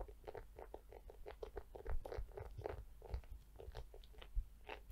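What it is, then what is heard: Plastic scalp massager brush. Long nails tap and scratch the hollow domed back of a pink plastic scalp massager brush held close up. A rapid run of quiet, dry crunchy taps and scrapes follows, each one short and clicky with a slight hollow resonance over a low rumble.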